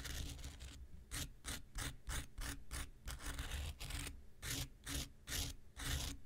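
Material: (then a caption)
Foam. The tip of an X-Acto knife scratches a small, solid, rectangular pink foam nail buffer block in a steady series of short strokes. Each stroke makes a bright, dry, raspy burst over a constant low hum, with brief quiet gaps between them.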